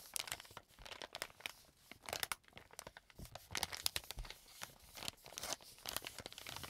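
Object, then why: Plastic film wet wipes pack. A soft, full pack of wet wipes in green plastic film is held in the hands, folded, squeezed and crinkled with the fingers. Dense, bright crinkling and crackling bursts come in rapid, irregular waves. The sound is quiet, close and dry, with almost no low end.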